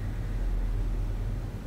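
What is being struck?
Nothing is struck.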